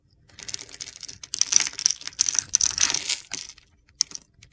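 A utility knife blade scrapes and carves gritty flakes off a solid blue bar of soap with a pale blue inside, held in the palm. The sound is a series of dry, crunchy scraping bursts that are bright and high with almost no low end, each stroke ending abruptly. It finishes with a few sharp, isolated ticks before falling silent.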